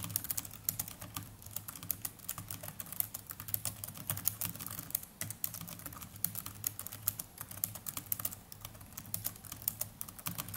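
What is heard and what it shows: Continuous fast typing with the fingertips of both hands on the plastic chiclet keys of a small black netbook keyboard. It produces a dense, steady stream of short, bright clicks over a soft low hum.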